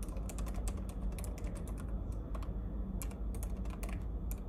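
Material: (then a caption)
Plastic. Fingertips of one hand tap rapidly on the plastic keys of a silver laptop keyboard, producing a dense, continuous run of bright, crisp clicks. The irregular taps ride over a steady low hum.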